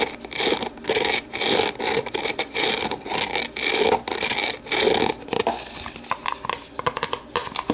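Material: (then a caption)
Plastic. Long nails rub and scrape the base and walls of an empty, hollow, translucent plastic deli container held tilted. Bright, hissy scraping comes in repeated bursts of about half a second, then breaks into quicker, shorter scratches toward the end.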